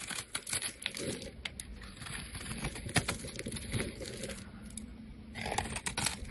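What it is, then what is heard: Soap bar being shaved with a blade. A blade shaves layers off a solid, rectangular, light-green bar of soap held in hands with purple nails. The result is a steady run of crisp, crackly scraping and crumbling sounds, dotted with sharp little clicks and brighter bursts near the start and end.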